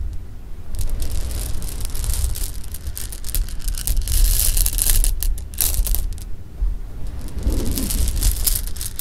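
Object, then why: Pile of hard-shelled jelly beans. Hands scoop, stir and rub together a pile of loose hard-shelled jelly beans on fabric, making a steady stream of bright clicking and rattling. Beneath the clatter runs a constant deep low rumble, with the rattling swelling louder in the middle and again near the end.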